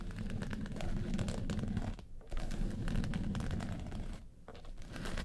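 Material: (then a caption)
Faux leather. Long nails tap the lid of a small, hollow, hard makeup case covered in woven-texture yellow faux leather, then scratch along its front sides. The result is a dense, low, hollow-sounding stream of rapid tapping and scratching, with brief quieter pauses around two and four seconds.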